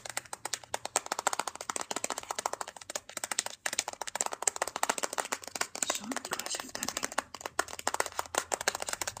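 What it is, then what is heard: Plastic handheld game console. Fingertips tap rapidly on the back casing of a closed black matte plastic Nintendo DSi handheld console, small and hollow and held in one hand. A dense, steady stream of short, dry, bright clicks with almost no ring runs throughout, shifting slightly in pace and loudness.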